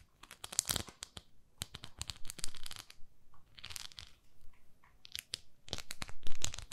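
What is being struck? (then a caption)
Silicone facial cleansing pad. Long nails scratch the nubbed face of a palm-sized, beige, textured silicone facial cleansing pad. The result is bursts of dry, bright, crinkly scratching in uneven clusters separated by brief pauses.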